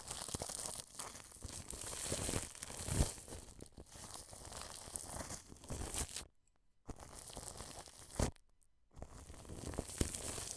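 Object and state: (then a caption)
Plastic cling film over a microphone. A wide paintbrush sweeps across clear cling film stretched over a white dome microphone's grille, making close, crinkly rustling and scratchy crackles with bright hiss and a low rumbling thump. The brushing runs in steady passes, broken by two brief near-silent pauses, before the crinkling resumes to the end.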